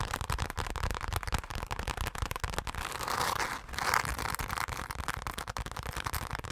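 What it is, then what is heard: Glitter-covered fabric zip pouch. Long pink acrylic nails rapidly tap and scratch a flat, hand-sized, soft-bodied dark purple fabric zipper pouch covered in chunky glitter, held in both hands. The result is a dense, crackly stream of sharp clicks with soft low thuds beneath, and a brighter, rasping scratch swells in the middle.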